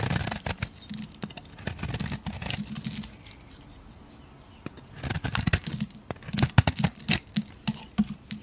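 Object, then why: Soap bar. A metal blade scrapes and shaves the surface of a solid pink bar of soap. Dry, crinkly scraping and shaving sounds come in quick bursts, fade to near silence for about a second and a half in the middle, then return as sharper, clicking strokes with a low, dull body under bright edges.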